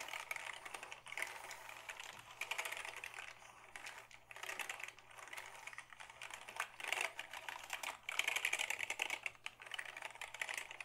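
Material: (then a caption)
Plastic. A black Dell keyboard made of hollow plastic is held at an angle while fingertips press its keys. Rapid, bright, clicky taps come in dense bursts with brief pauses between them, each click short and dry with almost no low end.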